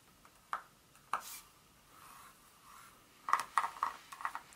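Long nails tap and scratch on a solid dark chocolate bar as it lies flat and is then lifted. Nine sharp, dry clicks centered near 1.1 kHz die away almost instantly, with soft scratchy rubbing between them and a quick cluster of taps at the end.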